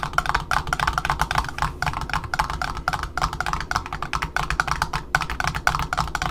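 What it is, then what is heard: Cardboard ribbon spool disc, tapped. Long fingernails on both hands tap quickly on the cardboard end disc around the center hole of a black Offray ribbon spool resting on a table. A rapid, uneven stream of dry, short clicks with a hollow tone near 1.5 kHz and a bright edge sits over a steady low rumble.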